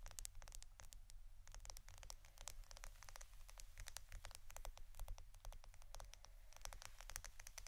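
A roll of plastic adhesive tape is tapped and scratched with quick, dense clicks that reach into the high range. Each tick stops almost instantly, and a low steady hum runs underneath at a quiet overall level.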